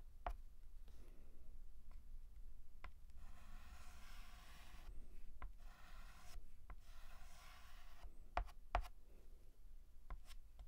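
White chalk is drawn across a black chalkboard in line strokes, starting a new letter A. Soft, raspy scratching with a faint squeaky tone is broken by several sharp taps of chalk against the board, over a steady low hum in a quiet setting.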